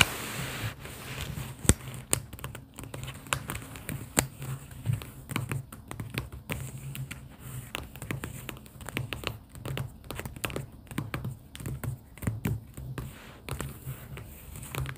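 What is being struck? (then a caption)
Paper sticky-note pad. Long pink acrylic nails tap on a stack of pastel paper sticky notes and tabs held in an open cardboard booklet. There are many quick, dry clicks and light scratchy taps in an uneven patter over a low, steady hum, each tap dying away almost at once.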